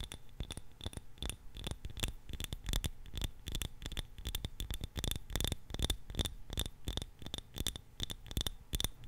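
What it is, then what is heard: Glass candle jar. A small glass jar filled with purple candle wax is held in both hands close to the mic and tapped and scratched with long nails. The result is a quick, uneven run of dry, clicky taps with a faint glassy ping near 3.6 kHz, mixed with soft scratching and a low thump under each tap. There is almost no ring after each hit.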